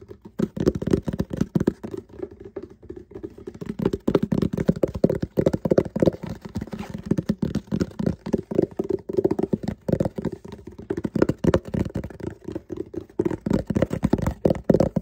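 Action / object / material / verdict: tap / cardboard box / cardboard / none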